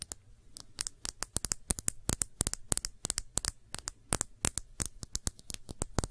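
Long nails tap and scratch a small, clear, thick-bottomed glass shot glass that is hollow, empty and held on its side. About 37 quick, sharp, bright clicks and scrapes come in an uneven patter over a low background hum. Each tick dies away almost instantly with no lingering ring.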